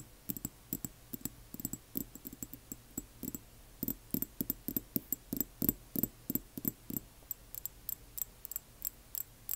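Long nails tap and scratch the glass near the label of a small frosted amber glass serum dropper bottle lying on its side in the hands. Around forty quiet, short, dry clicks come in an uneven rhythm, each with a soft low knock and a faint bright, high glassy tick that dies away almost at once.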